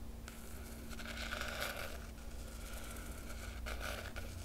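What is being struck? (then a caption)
Cloth-covered hardcover book with foil emblem. A long nail traces the silver foil dragon emblem on the black cloth cover of a large hardcover book. It makes a soft, continuous, papery scratching with bright rasp and a faint steady tone near 1.5 kHz. A low hum runs underneath throughout.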